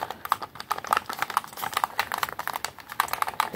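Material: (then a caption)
Plastic. Fingertips rapidly press and click the buttons and triggers of a white, hollow, hand-held plastic game controller held in both hands. A fast, uneven stream of short, dry plastic taps and clicks, centered around 1 kHz with no low end, each dying away almost instantly.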